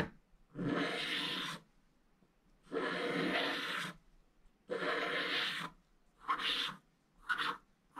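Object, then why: Scratch-art paper scraped with a wooden stylus. A wooden stylus scrapes the lower edge of a mostly scratched-off scratch-art paper page, orange with black shavings, in short strokes. Five dry, raspy scratching bursts with a bright, hissy top are separated by near silence; the first three are longer strokes of about a second each, and the last two are shorter and quicker.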